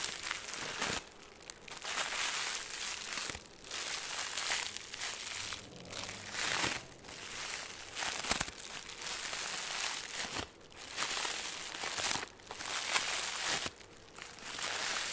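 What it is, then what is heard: Crinkly plastic film. Loose green crinkly plastic film is crumpled and rubbed between the fingers, giving a continuous bright, crackly crinkling. The sound comes in bursts separated by short quieter pauses, with almost no low end.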